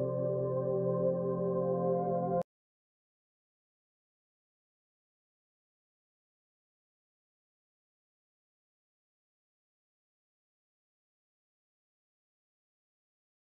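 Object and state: Nothing is struck.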